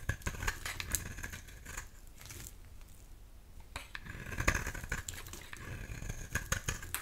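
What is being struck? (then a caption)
Bar of soap. A metal utility-knife blade scrapes across a solid lilac oval bar of purple soap held in the hand, shaving off flakes. Quick, dry scraping strokes rasp with a bright edge over a low rumble, with a quieter, sparser stretch in the middle before the strokes pick up again.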